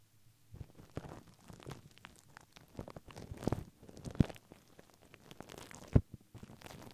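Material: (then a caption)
Paper. A white paper tissue stretched over a microphone head is brushed and scratched with a plastic mascara spoolie brush held in the fingers, while long pink nails hold the tissue in place. Soft, low, irregular scratching and rustling is heard, with a few sharper crunchy pops standing out.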